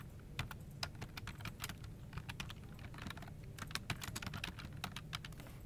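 Fast two-handed fingertip typing on a full-size plastic office keyboard resting on a desk produces dense, quick key-tap clicks. The bright, short clicks have almost no ring and sit over a steady low background rumble.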